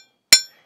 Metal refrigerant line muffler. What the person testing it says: And if we tap on a muffler, it has a hollow sound to it.